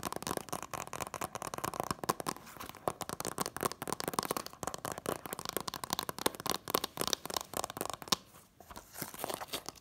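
Long nails rapidly tap the front of a hand-held Incredibles 2-disc DVD set in its printed cardboard slipcover. The result is a dense run of short, dry, crisp clicks with a papery crinkle, centred around 1 kHz and trailing off into high hiss. The taps barely ring and dip briefly near the end before resuming.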